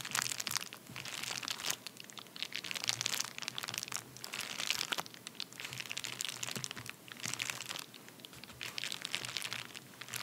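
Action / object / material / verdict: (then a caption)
scrape / padded paper bubble mailer / paper / none. Both hands press, tap and scratch their nails across the surface of a flat, empty padded paper bubble mailer. The result is a dense, continuous stream of bright, crisp crinkles and crackles that swell and ebb in waves, with almost no low end.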